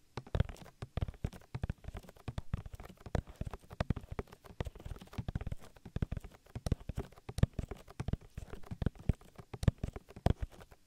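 Oiled fingertips rub and squish over the silicone ear of a binaural microphone in continuous massaging strokes. The result is a dense, bass-heavy stream of soft wet squelches and thumping pops with almost no high end, each one short and dry with no ring.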